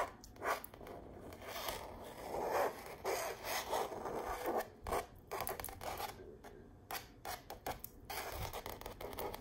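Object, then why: Stretched painted canvas print on a frame. Long nails scratch and tap across a stretched canvas wall art print of an autumn tree path, its textured painted fabric pulled over a hollow frame. Dry, rasping scrapes alternate with quick, light taps that die away almost at once, with little low-end body.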